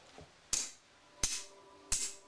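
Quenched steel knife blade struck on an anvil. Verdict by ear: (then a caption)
Sound. A quenched steel knife blade is struck on an anvil three times to test its hardening, giving sharp, bright metallic clinks that ring briefly with a faint high tone. The blade does not break and the hardening holds up well.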